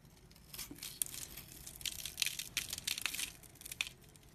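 A box-cutter blade scrapes the scored surface of a rectangular, solid pink bar of dry soap held in the fingers. Irregular, bright, dry crunching and scratchy scraping bursts come in quick succession. The scraping breaks the soap into crumbly flakes and powder.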